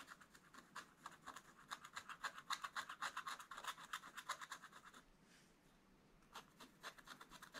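A wooden stylus scratches detail lines into a black-coated scratch-art paper page, drawing a dragon. Quick, dry, bright scraping strokes come in a steady rhythm, then pause briefly around five to six seconds before the scratching resumes.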